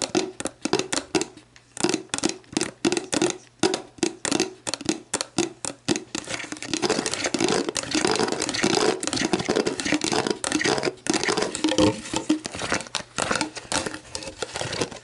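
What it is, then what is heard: Empty plastic bottle. A clear, hollow, mostly empty plastic Gatorade Zero bottle lies on its side while long black nails tap and scratch its ridged base and label. The first six seconds are quick, separate hollow taps with a light plastic knock. These give way to dense, continuous scratching with bright crackly texture and occasional taps mixed in, over a steady low hum.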